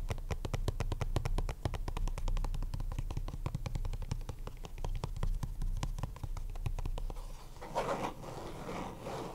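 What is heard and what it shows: Fingertips and short nails tap rapidly on the lid and sides of a small, hollow, purple plastic Ultra Pro card deck box resting on a mat. The result is a dense run of short, dry clicks over a low, hollow thump. Near the end, the tapping gives way to a brief, softer, scratchier texture.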